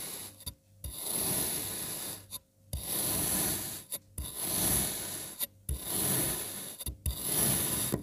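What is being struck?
Kinetic sand block cut with a knife.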